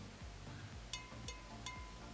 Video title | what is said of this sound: How To Fire Pottery! - NO KILN NEEDED | The ring test is always a good test to do. So it should have a nice ring to it whenever you flick it.